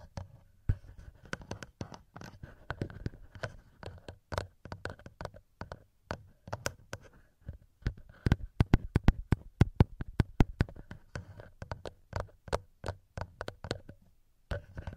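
Fingertips and short nails tap and rub directly on the two small cylindrical metal-ringed microphone capsules of a TASCAM DR-07X handheld recorder with a plastic body. A rapid, irregular stream of short, dry taps, heavy with low thumping boom, blends with soft scratchy rubbing. Occasional brighter clicks stand out, and there are brief pauses between flurries.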